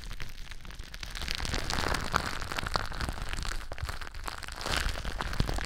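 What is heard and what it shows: Clear plastic bubble wrap wrapped around a microphone is scratched and pressed by fingertips and long nails. The result is a dense, continuous crackle of small crinkling clicks and rustles over a heavy low rumble, with brighter swishes rising and falling throughout.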